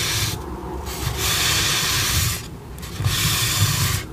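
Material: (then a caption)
Polystyrene foam. Long pink acrylic nails rub and scratch the back of a white polystyrene foam mannequin head. Steady, bright, hissy scraping strokes come and go, separated by brief quieter pauses, with a soft low rumble underneath.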